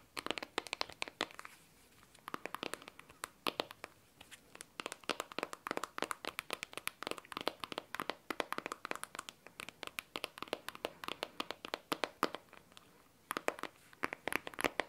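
Long teal nails tap on the glossy glass back and camera bump of a handheld blue smartphone. The result is fast, bright, dry clicking in quick bursts with brief pauses, each tap dying away almost instantly.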